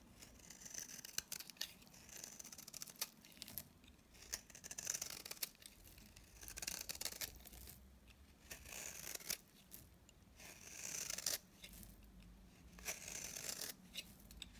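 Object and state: Dry bar soap being shaved.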